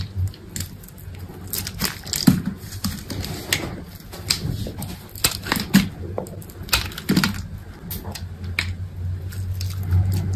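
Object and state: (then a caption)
Bar of soap being scraped. A utility knife scores and scrapes pieces off a solid white bar of soap held in the hand. Many short, crisp scraping and crackling strokes come in irregular bursts over a steady low hum, with sharp bright clicks as the blade cuts.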